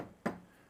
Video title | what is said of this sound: IHSP-SA International Seminar Plenary B: INNOVATIVE AFFORDABLE HOUSING FINANCE OPTIONS | No one wants to live in a house that sounds like that. They want to knock a wall and hear it's solid